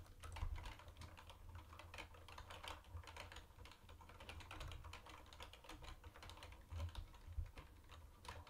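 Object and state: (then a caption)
Plastic keyboard being typed on. Both hands type fast with their fingertips on a mint-green plastic retro keyboard with round white plastic keycaps. A steady stream of rapid, short clicking taps rides over a low, soft thump from the keystrokes, with each click dying away almost instantly.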